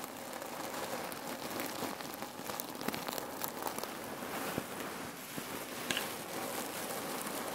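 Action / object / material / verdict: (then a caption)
scrape / cotton pillow filled with cherry pits / cherry pits / none. Fingers squeeze a red cotton neck pillow filled with cherry pits, then long nails scratch across the fabric. The result is a steady, dense, gritty rustle and crackle with bright hiss and a few sharper clicks as the pits shift and grind.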